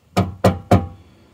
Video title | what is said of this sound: SLOW TV Working on the car / Corsa B Will it run? - Uncut. | that just sounds empty to me